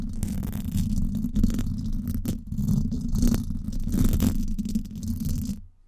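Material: Metal mesh.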